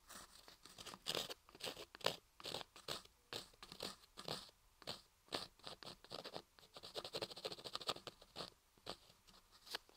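A thin wooden ear pick scratches and scrapes inside the canal of a hand-carved ear model made from a block of pale laundry soap, which sits over the microphone and is steadied by a hand. Close, dry crunching and scraping strokes come in quick bursts, bright and crisp with very little low end, each scrape dying away almost instantly.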